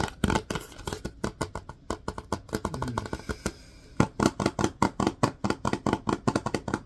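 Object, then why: Plastic wipes canister. Fingertips and nails tap and scratch the side of a large Lysol disinfecting wipes canister, a hollow plastic cylinder with a white plastic lid and a paper label. Quick, dry, hollow taps come in an uneven rapid run, each dying away almost at once. A quieter patch of softer tapping and scratching sits in the middle before louder taps resume.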